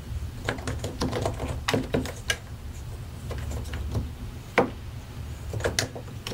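A white and grey plastic mechanical keyboard, its keycaps set over solid switches, is typed on continuously with the fingertips of both hands. Bright, sharp clicks and taps sound in quick, uneven bursts over a low, steady rumble. A few strokes land louder than the rest.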